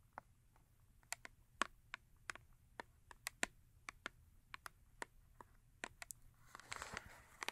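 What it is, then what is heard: Cardboard soap box. Long nails tap and scratch the top and front of a small paperboard Yardley soap box resting on fur. About 22 quiet, dry, bright clicks come in an uneven rhythm, each dying away almost instantly. A short rustling scratch near the end adds a breathy high hiss.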